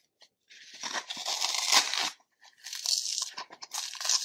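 A dry, solid, porous block of green phenolic floral foam is held in one hand over a plastic bowl of foam crumbs while fingertips and nails dig into its edge, scratching and crushing off crumbly chunks. The result is bright, dry crunching and tearing crackle in two bursts separated by a brief pause, with almost no low end.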